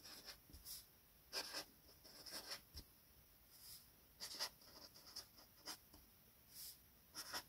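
A felt-tip gold marker writes on a flat sheet of white paper lying on a table, its tip scratching and rubbing across the surface in short, irregular strokes. The sound is a quiet, bright, dry squeak-and-scrape with pauses between the strokes.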